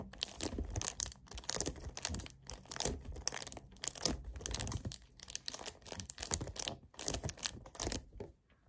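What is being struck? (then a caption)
Plastic kefir jug. Fingernails tap and scratch the surface of a hollow 1 L white plastic kefir jug lying on its side. The result is a dense run of bright, crinkly clicks and scrapes over a light low hollow body, with brief pauses between bursts and a quiet fade at the end.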